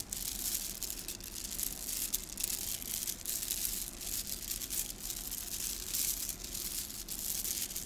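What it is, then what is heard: Plastic bead garland. A bunched strand of small gold plastic beads from a garland is held in both hands and rubbed and squeezed between the fingers so the beads click together. The result is a steady, fairly quiet, dense rattle of bright, crisp clicks with no pauses, gently swelling and easing as the beads are worked.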